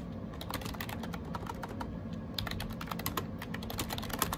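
Fingertips type rapidly on a gray AJAZZ 308i wireless Bluetooth keyboard with round plastic keycaps. Quick, dense plastic key clicks with short, dry, bright ticks sit over a steady low hum.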